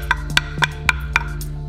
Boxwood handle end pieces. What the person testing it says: comme ça sonne ça sonne pas creux